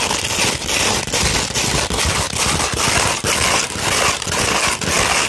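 Nails and fingertips scratch a sheet of 240 grit sandpaper, first rolled into a cone and then laid flat. The result is a dense, bright, gritty rasping that runs almost continuously, with brief dips between strokes.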